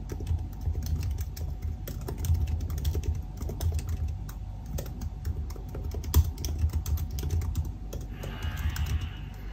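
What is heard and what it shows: Fingertips of both hands type continuously on the black plastic keys of a silver aluminium laptop keyboard. The result is a steady stream of short, quick-decaying clicks and taps with a deep, low-heavy thump beneath them. A faint steady tone runs underneath throughout.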